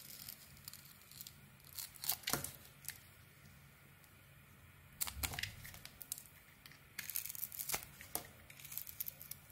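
A small metal blade carves curls from a solid, rounded bar of white soap with a white interior and a gold edge. Bright, dry scraping and tearing strokes come in short bursts, with quieter gaps and a faint low steady hum underneath.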